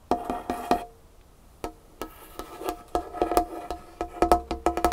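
A single long fingernail taps and scratches the surface of a large, solid dark wood tabletop. It makes a fast, irregular run of crisp, dry taps with a hollow tone around 711 Hz, mixed with brief scratching. Each tap dies away almost instantly, with a short quiet gap near the start.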